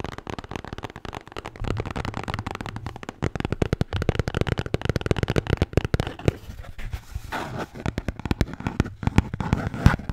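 A red Bintang beer can holder is tapped and scratched with rapid, dense, crackly strikes that fire in quick succession for about ten seconds. The sound is mostly low and thumpy, with little brightness and very short decay on each hit.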